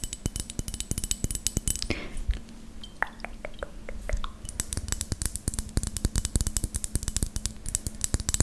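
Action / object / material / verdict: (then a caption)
tap / glass perfume bottle with plastic cap / glass / none. Long green acrylic nails tap on a square, clear glass perfume bottle with a white cap, partly filled, striking both the glass and the cap. Fast, dry clicking taps give way to a few slower, lightly ringing taps in the middle before the rapid tapping picks up again, over a faint steady low hum.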